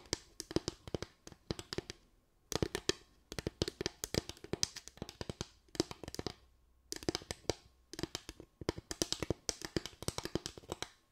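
Fingers tap a bamboo tray for ASMR, making quick, dry, woody clicks in rapid bursts separated by brief pauses. Each tap stops almost instantly with no ring, and the tapping carries bright high-frequency crispness.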